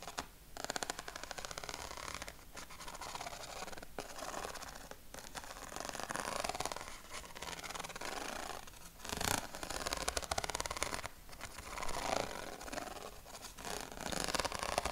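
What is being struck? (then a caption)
Corrugated cardboard sheet. Fingertips scratch and rub along the ribs of a flat yellow corrugated cardboard sheet held against the chest. The result is a dense, continuous, bright rasping texture, broken by a few brief pauses and louder strokes in the second half.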